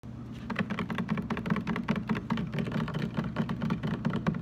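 A large, hollow, blue translucent plastic water jug stands upright on a table and is tapped on its sides with the fingertips and short nails of both hands. The result is a quick, continuous patter of soft, hollow taps with a low, boomy resonance. Each tap dies away almost at once.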